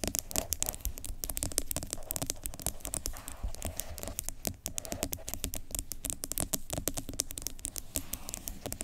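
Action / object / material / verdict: scrape / plastic cosmetic jar with plastic lid / plastic / none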